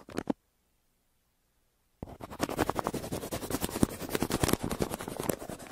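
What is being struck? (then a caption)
Paper mailer scratched with a pencil. The tip of a yellow wooden pencil scratches back and forth across a flat, crumpled brown kraft paper mailer near its printed logo. A short scratchy burst is followed by nearly two seconds of silence, then a steady run of rapid, dry, rasping strokes that lasts to the end.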